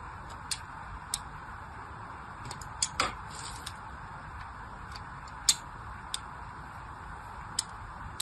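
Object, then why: Bar of soap scored with a craft blade. A craft blade scores a crosshatch grid into the surface of a solid plain pink soap bar held in hand. Short, bright, crisp scratching clicks come at irregular intervals over a steady low hiss, with one louder, fuller scrape near the middle.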